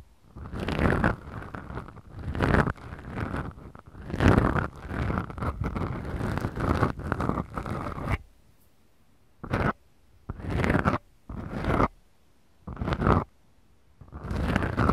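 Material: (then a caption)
Foam. Long nails of both hands scratch two small black foam microphone windscreens on a Tascam recorder, making a deep, rumbling, low-heavy scraping sound. The scratching runs almost continuously for about eight seconds, then breaks into five separate short scratching bursts with silence between them.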